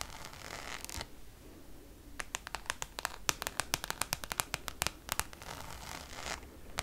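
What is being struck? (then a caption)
Coated canvas zip pouch. Long nails scratch across the textured surface of a Louis Vuitton Damier checkered coated canvas zip pouch held at an angle. A bright, papery scrape is followed by a run of sharp, quick clicks, then a second stretch of scraping, and the clip ends with one last click.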